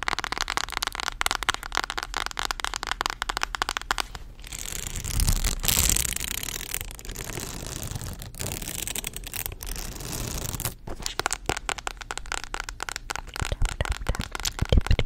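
A mint-green polka-dot spiral notebook with a hard cardboard cover and metal spiral binding is held close to the mic and tapped and scratched with long acrylic nails. Rapid, dense clicking taps fill the first four seconds, then give way to a steadier rough scratching sound. Quick tapping returns toward the end.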